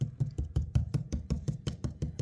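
Fourteen quick taps on the wood veneer of a stair stringer, near an area of missing veneer, give short, dull, low-pitched knocks with almost no ring. The sound shows that a small area of the veneer there is loose.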